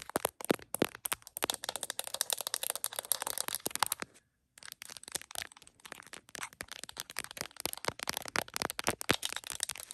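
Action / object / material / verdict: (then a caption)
tap / smartphone in a plastic case, tapped with fingernails / plastic / none. Long acrylic nails rapidly tap the back of an iPhone's printed smiley-face plastic case and its camera lenses while the phone, mounted on a tripod and seen in a heart-shaped mirror, does the recording. Dense, sharp, bright clicks and light rattles fill the clip, pausing briefly around four seconds before the quick tapping resumes.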